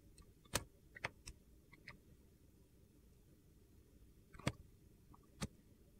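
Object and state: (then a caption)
Glycerin soap bar being carved. A metal box-cutter blade slices thin shavings off a solid, hand-sized, clear yellowish glycerin soap bar held in one hand. Short, crisp clicking cuts stand out against a quiet low hiss, with two grouped near the start and a couple more spaced out toward the end.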